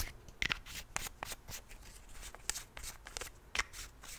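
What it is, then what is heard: Plastic toothpaste tube cap clicking. A Colgate plastic toothpaste tube is held in hand while fingertips and nails flip its white plastic cap open and shut. A quick series of sharp, dry, bright plastic clicks and snaps follows, each dying away almost instantly over faint rustling handling noise.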